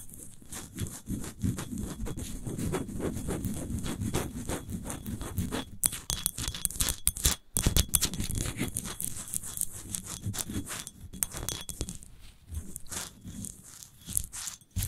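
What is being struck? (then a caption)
Empty glass wine bottle. Long nails scratch and tap quickly around the paper label on a large, hollow, clear glass wine bottle standing upright and apparently empty. Dense, rapid scraping and tapping runs throughout, with a low body and a bright, crisp edge on each stroke and very short ring-outs.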